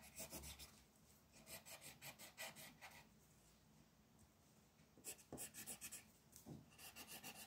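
A yellow wooden colored pencil is rubbed in rapid back-and-forth shading strokes across a flat white paper mandala coloring sheet lying on a table. The strokes make a soft, bright, dry rasp, coming in quick bursts grouped into several runs separated by quieter pauses.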